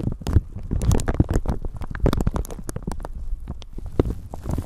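A thin clear plastic bag wrapped over a handheld microphone is crinkled and scratched with long painted nails and fingertips. The result is a dense stream of short, crackling crinkles with bright clicks and a heavy low rumble, possibly from handling noise of the microphone underneath.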